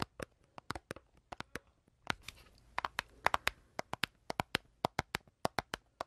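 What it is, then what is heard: Cardboard candy box. Long dark-painted nails tap and scratch a small rectangular printed cardboard box of Pink Cadillacs candy, hollow and apparently filled with candy, held in one hand. Sharp, bright clicks come in quick bursts, with a softer stretch of scratching noise around the middle while the box is turned.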